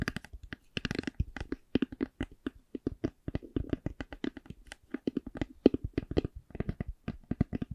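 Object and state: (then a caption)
Hollow faux leather hard eyeglass case. Long glittery nails tap and scratch a hollow black Ray-Ban hard eyeglass case covered in faux leather. Dozens of quick, dry taps with a hollow low-mid knock fall in an uneven rhythm, mixed with short bright scratching bursts. Each tap dies away almost instantly.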